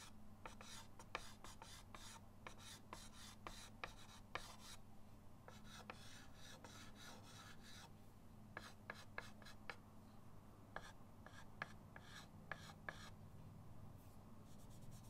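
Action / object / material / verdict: scrape / chalk stick on a wooden-framed chalkboard / chalk / none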